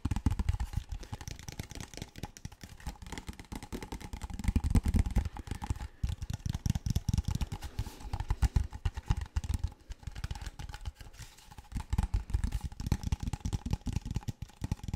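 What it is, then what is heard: Plastic water bottle. A medium clear plastic drinking bottle with a printed label and cap, hollow and apparently empty, is held in the hands near the microphone while fingertips and nails tap, squeeze and crinkle it, moving and turning it. The result is a dense, continuous run of quick, dry taps and crackly crinkles with a heavy, thumpy low end. Each sound dies away almost instantly, with louder flurries throughout.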